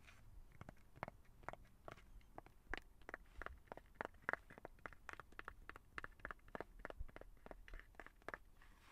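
Fingertips and nails tap and scratch the back of a small, flat, light blue hard plastic phone case on a smartphone held in the hands. A quiet, irregular stream of sharp, dry clicks with a midrange tone around 1.4 kHz stops dead after each hit, mixed with soft scratchy scraping over a low background rumble.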